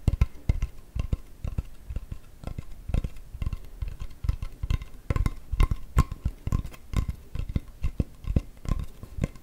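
Long nails scratch and tap the face of a large, solid, dark-grained acacia wood chopping board with a handle, held upright. Many quick, dull taps land in uneven clusters, each with a deep thud and almost no ring, over a soft scratching texture.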